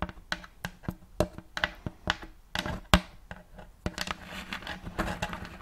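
Fingers and nails tap the front of a round, thin, shallow plate of light checkered wood, empty and held upright near the mic. A quick, uneven series of short, dry knocks with a low, hollow woody tone, each dying away almost at once. The taps grow softer and more closely bunched toward the end.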